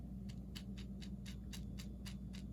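A heavy marble salt shaker with no rubber band, filled with salt and rice, is shaken. It gives nine quick, bright rattles over a steady low hum. The rice and salt make a louder rattle than the pepper shaker, so the sound identifies it as the salt shaker.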